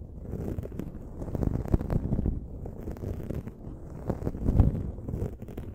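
Long nails scratch and rub a dark foam windscreen on a silver microphone, making a dense, low, rumbling scrape with many quick crackly grains. The texture swells and fades in waves over the clip, with a few louder scratches standing out.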